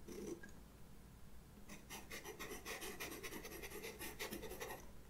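A white pastel pencil with a red barrel, held in fingers with long red nails, scratches lines onto a black paper page of a spiral-bound sketchbook. A brief scratch opens the clip, then after a quiet stretch a run of quick, bright, rasping strokes continues until near the end. A faint steady low hum sits underneath throughout.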